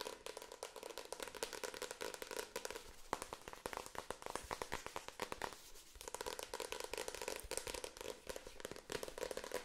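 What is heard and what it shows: A medium-sized paperback book with a glossy card cover and solid paper block, held in the hands, is tapped and scratched on the cover with long acrylic nails. The result is a fast, continuous stream of sharp clicks and crackling scrapes with a bright, papery edge and almost no ring, broken by a couple of brief pauses.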